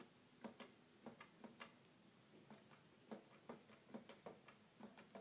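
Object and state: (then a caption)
Plastic toy keyboard, hollow. Fingertips press and tap the keys of a hollow red plastic toy keyboard. The result is a series of quiet, short, hollow clicks with a faint low tone around 200 Hz. Each click dies away almost at once.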